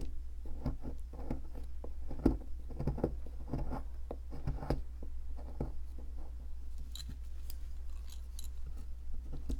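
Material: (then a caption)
Plaster. A metal pick scratches and scrapes at a solid white plaster fossil excavation block while it is turned in the hand. Short, dry scratching bursts sound over a steady low hum, with brighter, thinner scraping near the end.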